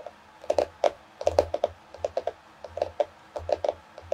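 Long fingernails on both hands tap rapidly on the solid cardboard cover of a small floral hardcover paper notebook. About twenty quick, dry clicks come in uneven bursts, each with a hollow tone around 580 Hz and a bright edge. Each click dies away almost instantly.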